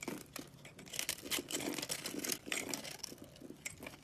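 A box-cutter blade scrapes across the scored pink face of a palm-sized, solid round soap bar with an orange rim and pink core, held in one hand, crumbling off small cubes. The sound is a quiet, continuous run of crisp, bright scratching and crunchy crumbling ticks with almost no low end.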